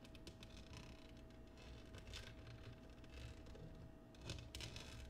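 Fingernails and fingertips tap and scratch the base and rim of an empty, clear patterned cut glass oval dish resting upside down on a table. Quick, bright ticks and scrapes ride over a low, steady hum, with a louder cluster of taps near the end.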